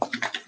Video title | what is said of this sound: Making Jewelry with Hot Glue! | it sounds really runny